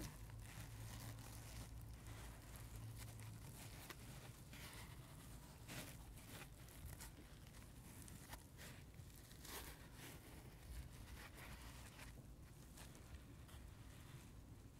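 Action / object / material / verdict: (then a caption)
scrape / foam sponge with scrubber layer / foam / none. Fingertips and nails scratch and tap a dry, palm-sized, solid heart-shaped rainbow-striped foam sponge with a white scrubber layer, while a watermelon sponge lies untouched nearby. The result is a quiet, steady run of crinkly, rustling scratches dotted with soft taps over a low, muffled rumble.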